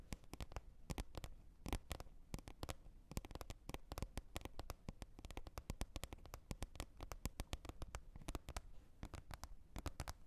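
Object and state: Plastic lid.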